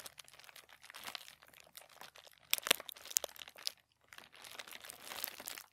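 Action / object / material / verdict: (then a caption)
scrape / thin tissue paper sheet / paper / none. Fingertips of both hands rub and scratch a crinkled sheet of thin white tissue paper lying flat on a table. The result is bright, irregular crinkling and rustling with sharp, crunchy snaps in the middle of the clip. After a brief pause, the crinkling continues more softly.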